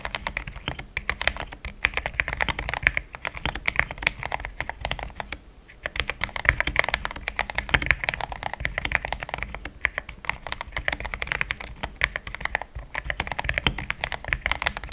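Fast fingertip typing on a compact pink-cased mechanical keyboard with solid, thick cream XDA plastic keycaps makes a dense, steady stream of short, crisp clacks. The clacks are bright with a low thocky body and die away almost instantly. There is a brief pause around the 5.5-second mark before the rapid typing resumes.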